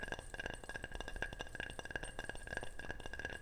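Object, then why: Ceramic object. A ceramic object is tapped repeatedly in quick, light strikes. It makes bright, short clinks with a steady ringing tone around 1.6 kHz that dies away almost at once, over a soft low background.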